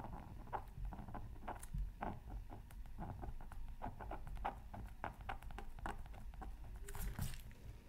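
A pointed wooden stylus scratches a thin black-coated scratch art card from a Mythical Creatures Super Scratch Art Pad, near a microphone that is not touched. Quick, dry scratching strokes come in rapid bursts with short crisp edges over a steady low rumble.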